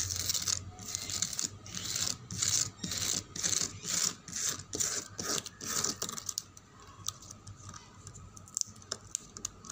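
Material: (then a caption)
Painted wood. Fingernails scratch back and forth across the top and edge of a reddish-brown painted wooden table in a steady rhythm of bright, dry rasping strokes. The scratching then fades into softer, scattered light taps and clicks.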